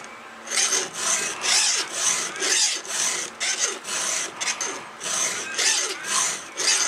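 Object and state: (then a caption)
Steel chainsaw chain being filed. A round steel file with a red guide is drawn by hand across the cutter tooth of a solid steel chainsaw chain. Repeated rasping strokes give a bright, high metallic scrape, each with a short fade between passes, as the tooth is sharpened.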